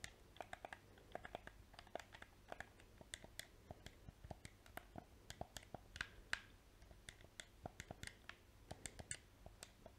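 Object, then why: Plastic game controller. A small, hollow black PS4 plastic controller has its buttons and triggers clicked with painted fingernails and fingertips. The result is a quick, irregular stream of short, dry plastic clicks and taps with bright edges and almost no ring, over a faint steady low hum.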